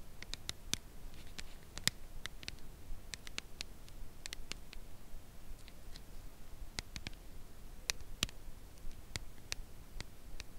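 A red Lindt Lindor cardboard box holding a chocolate bar is tapped gently with long acrylic nails. Twenty-seven short, dry, crisp clicks land slowly and irregularly over quiet low background noise, each dying away almost instantly.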